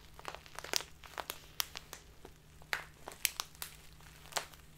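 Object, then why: Plastic bag of loose tea. A full, crinkly clear plastic Biotta tea bag of loose tea is squeezed in both hands with the fingertips, then tilted sideways while being crinkled. It gives a quiet series of sharp, bright crackles and crinkles that stop almost instantly, over a faint steady low hum.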